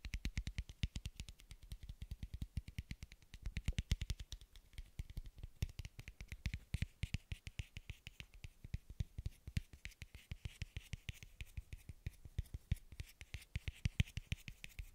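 A small, hollow blue plastic bottle cap, held near the microphone, is tapped and scratched with fingertips and nails. The result is a steady stream of quick, dry clicks with a soft low thump underneath and a light, bright scratchy texture. Each tap dies away almost instantly.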